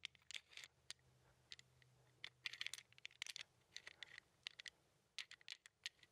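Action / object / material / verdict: scrape / small plastic sliding tile puzzle / plastic / none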